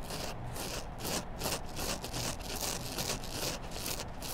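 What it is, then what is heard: Kitchen sponge with scouring pad, scratched. Long black nails rub and scratch along the foam side and edges of a hand-sized, solid yellow foam kitchen sponge with a green scrub layer. The result is a steady run of rough, bright scraping strokes that swell and fade about every third of a second over a low rumbling bed.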